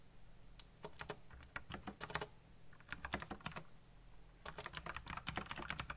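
Fingertips fast-type on a black backlit mechanical computer keyboard with plastic keycaps. Bursts of sharp, bright clicks and clacks come in three quick runs separated by short pauses, over a faint low hum. Each keystroke dies away almost instantly.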